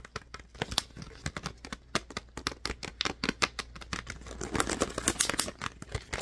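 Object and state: Plastic water bottle.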